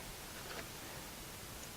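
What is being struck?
Nothing is struck.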